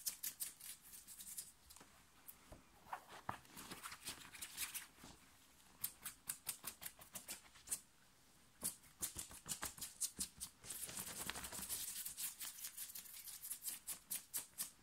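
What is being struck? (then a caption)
Thin cotton t-shirt. Fingernails scratch fast and hard at the shoulders of a thin, worn, light blue cotton t-shirt while fingers pull at the fabric. The result is a dense run of quick, bright, crisp scratching strokes with almost no low end. Short quieter pauses break up the bursts.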